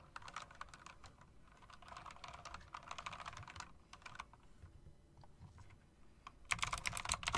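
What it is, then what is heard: Mechanical keyboard with round keycaps. Fingers with long dark acrylic nails press and tap the round chrome-rimmed plastic keycaps of an RGB mechanical typewriter-style keyboard. Bursts of crisp, bright clicks sound in quick runs, separated by quieter pauses, and build to a louder, denser flurry of taps at the end.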